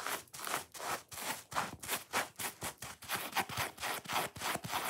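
A dry, watermelon-shaped foam kitchen sponge is held in both hands while fingernails scratch fast along its top scrubbing layer and foam face. About 18 quick, rough scratching bursts follow each other at an uneven pace. Each burst is bright and hissy, with little low end.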